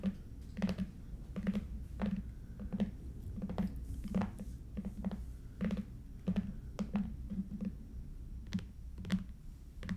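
Long nails tap on a long, red, lidded, hollow Stuhrling watch box made of cardboard covered in coated paper, first at the ends and then across the lid. The result is a steady series of short, hollow, low knocks, each with a quick bright click and almost no ring, over a faint low background hum.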